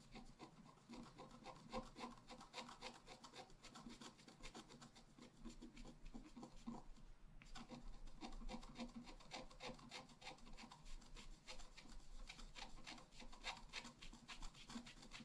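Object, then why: Black-coated scratch-art paper card and wooden stylus. A wooden stylus scratches the flowers on the right side of a flat black-coated scratch-art paper card. Quick, uneven strokes make a steady, dry, bright rasping that runs almost continuously, with a brief lull around the midpoint before it resumes.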